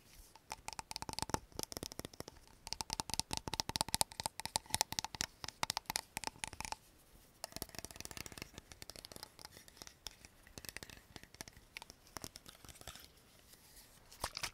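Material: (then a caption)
Plastic. A small clear plastic cosmetic bottle with a black cap has its cap pulled off and put back quickly while the bottle is tapped with nails. The result is a fast, dense run of short, dry clicks and taps with little ring. A faint tone sits around 875 Hz, and the highs are bright.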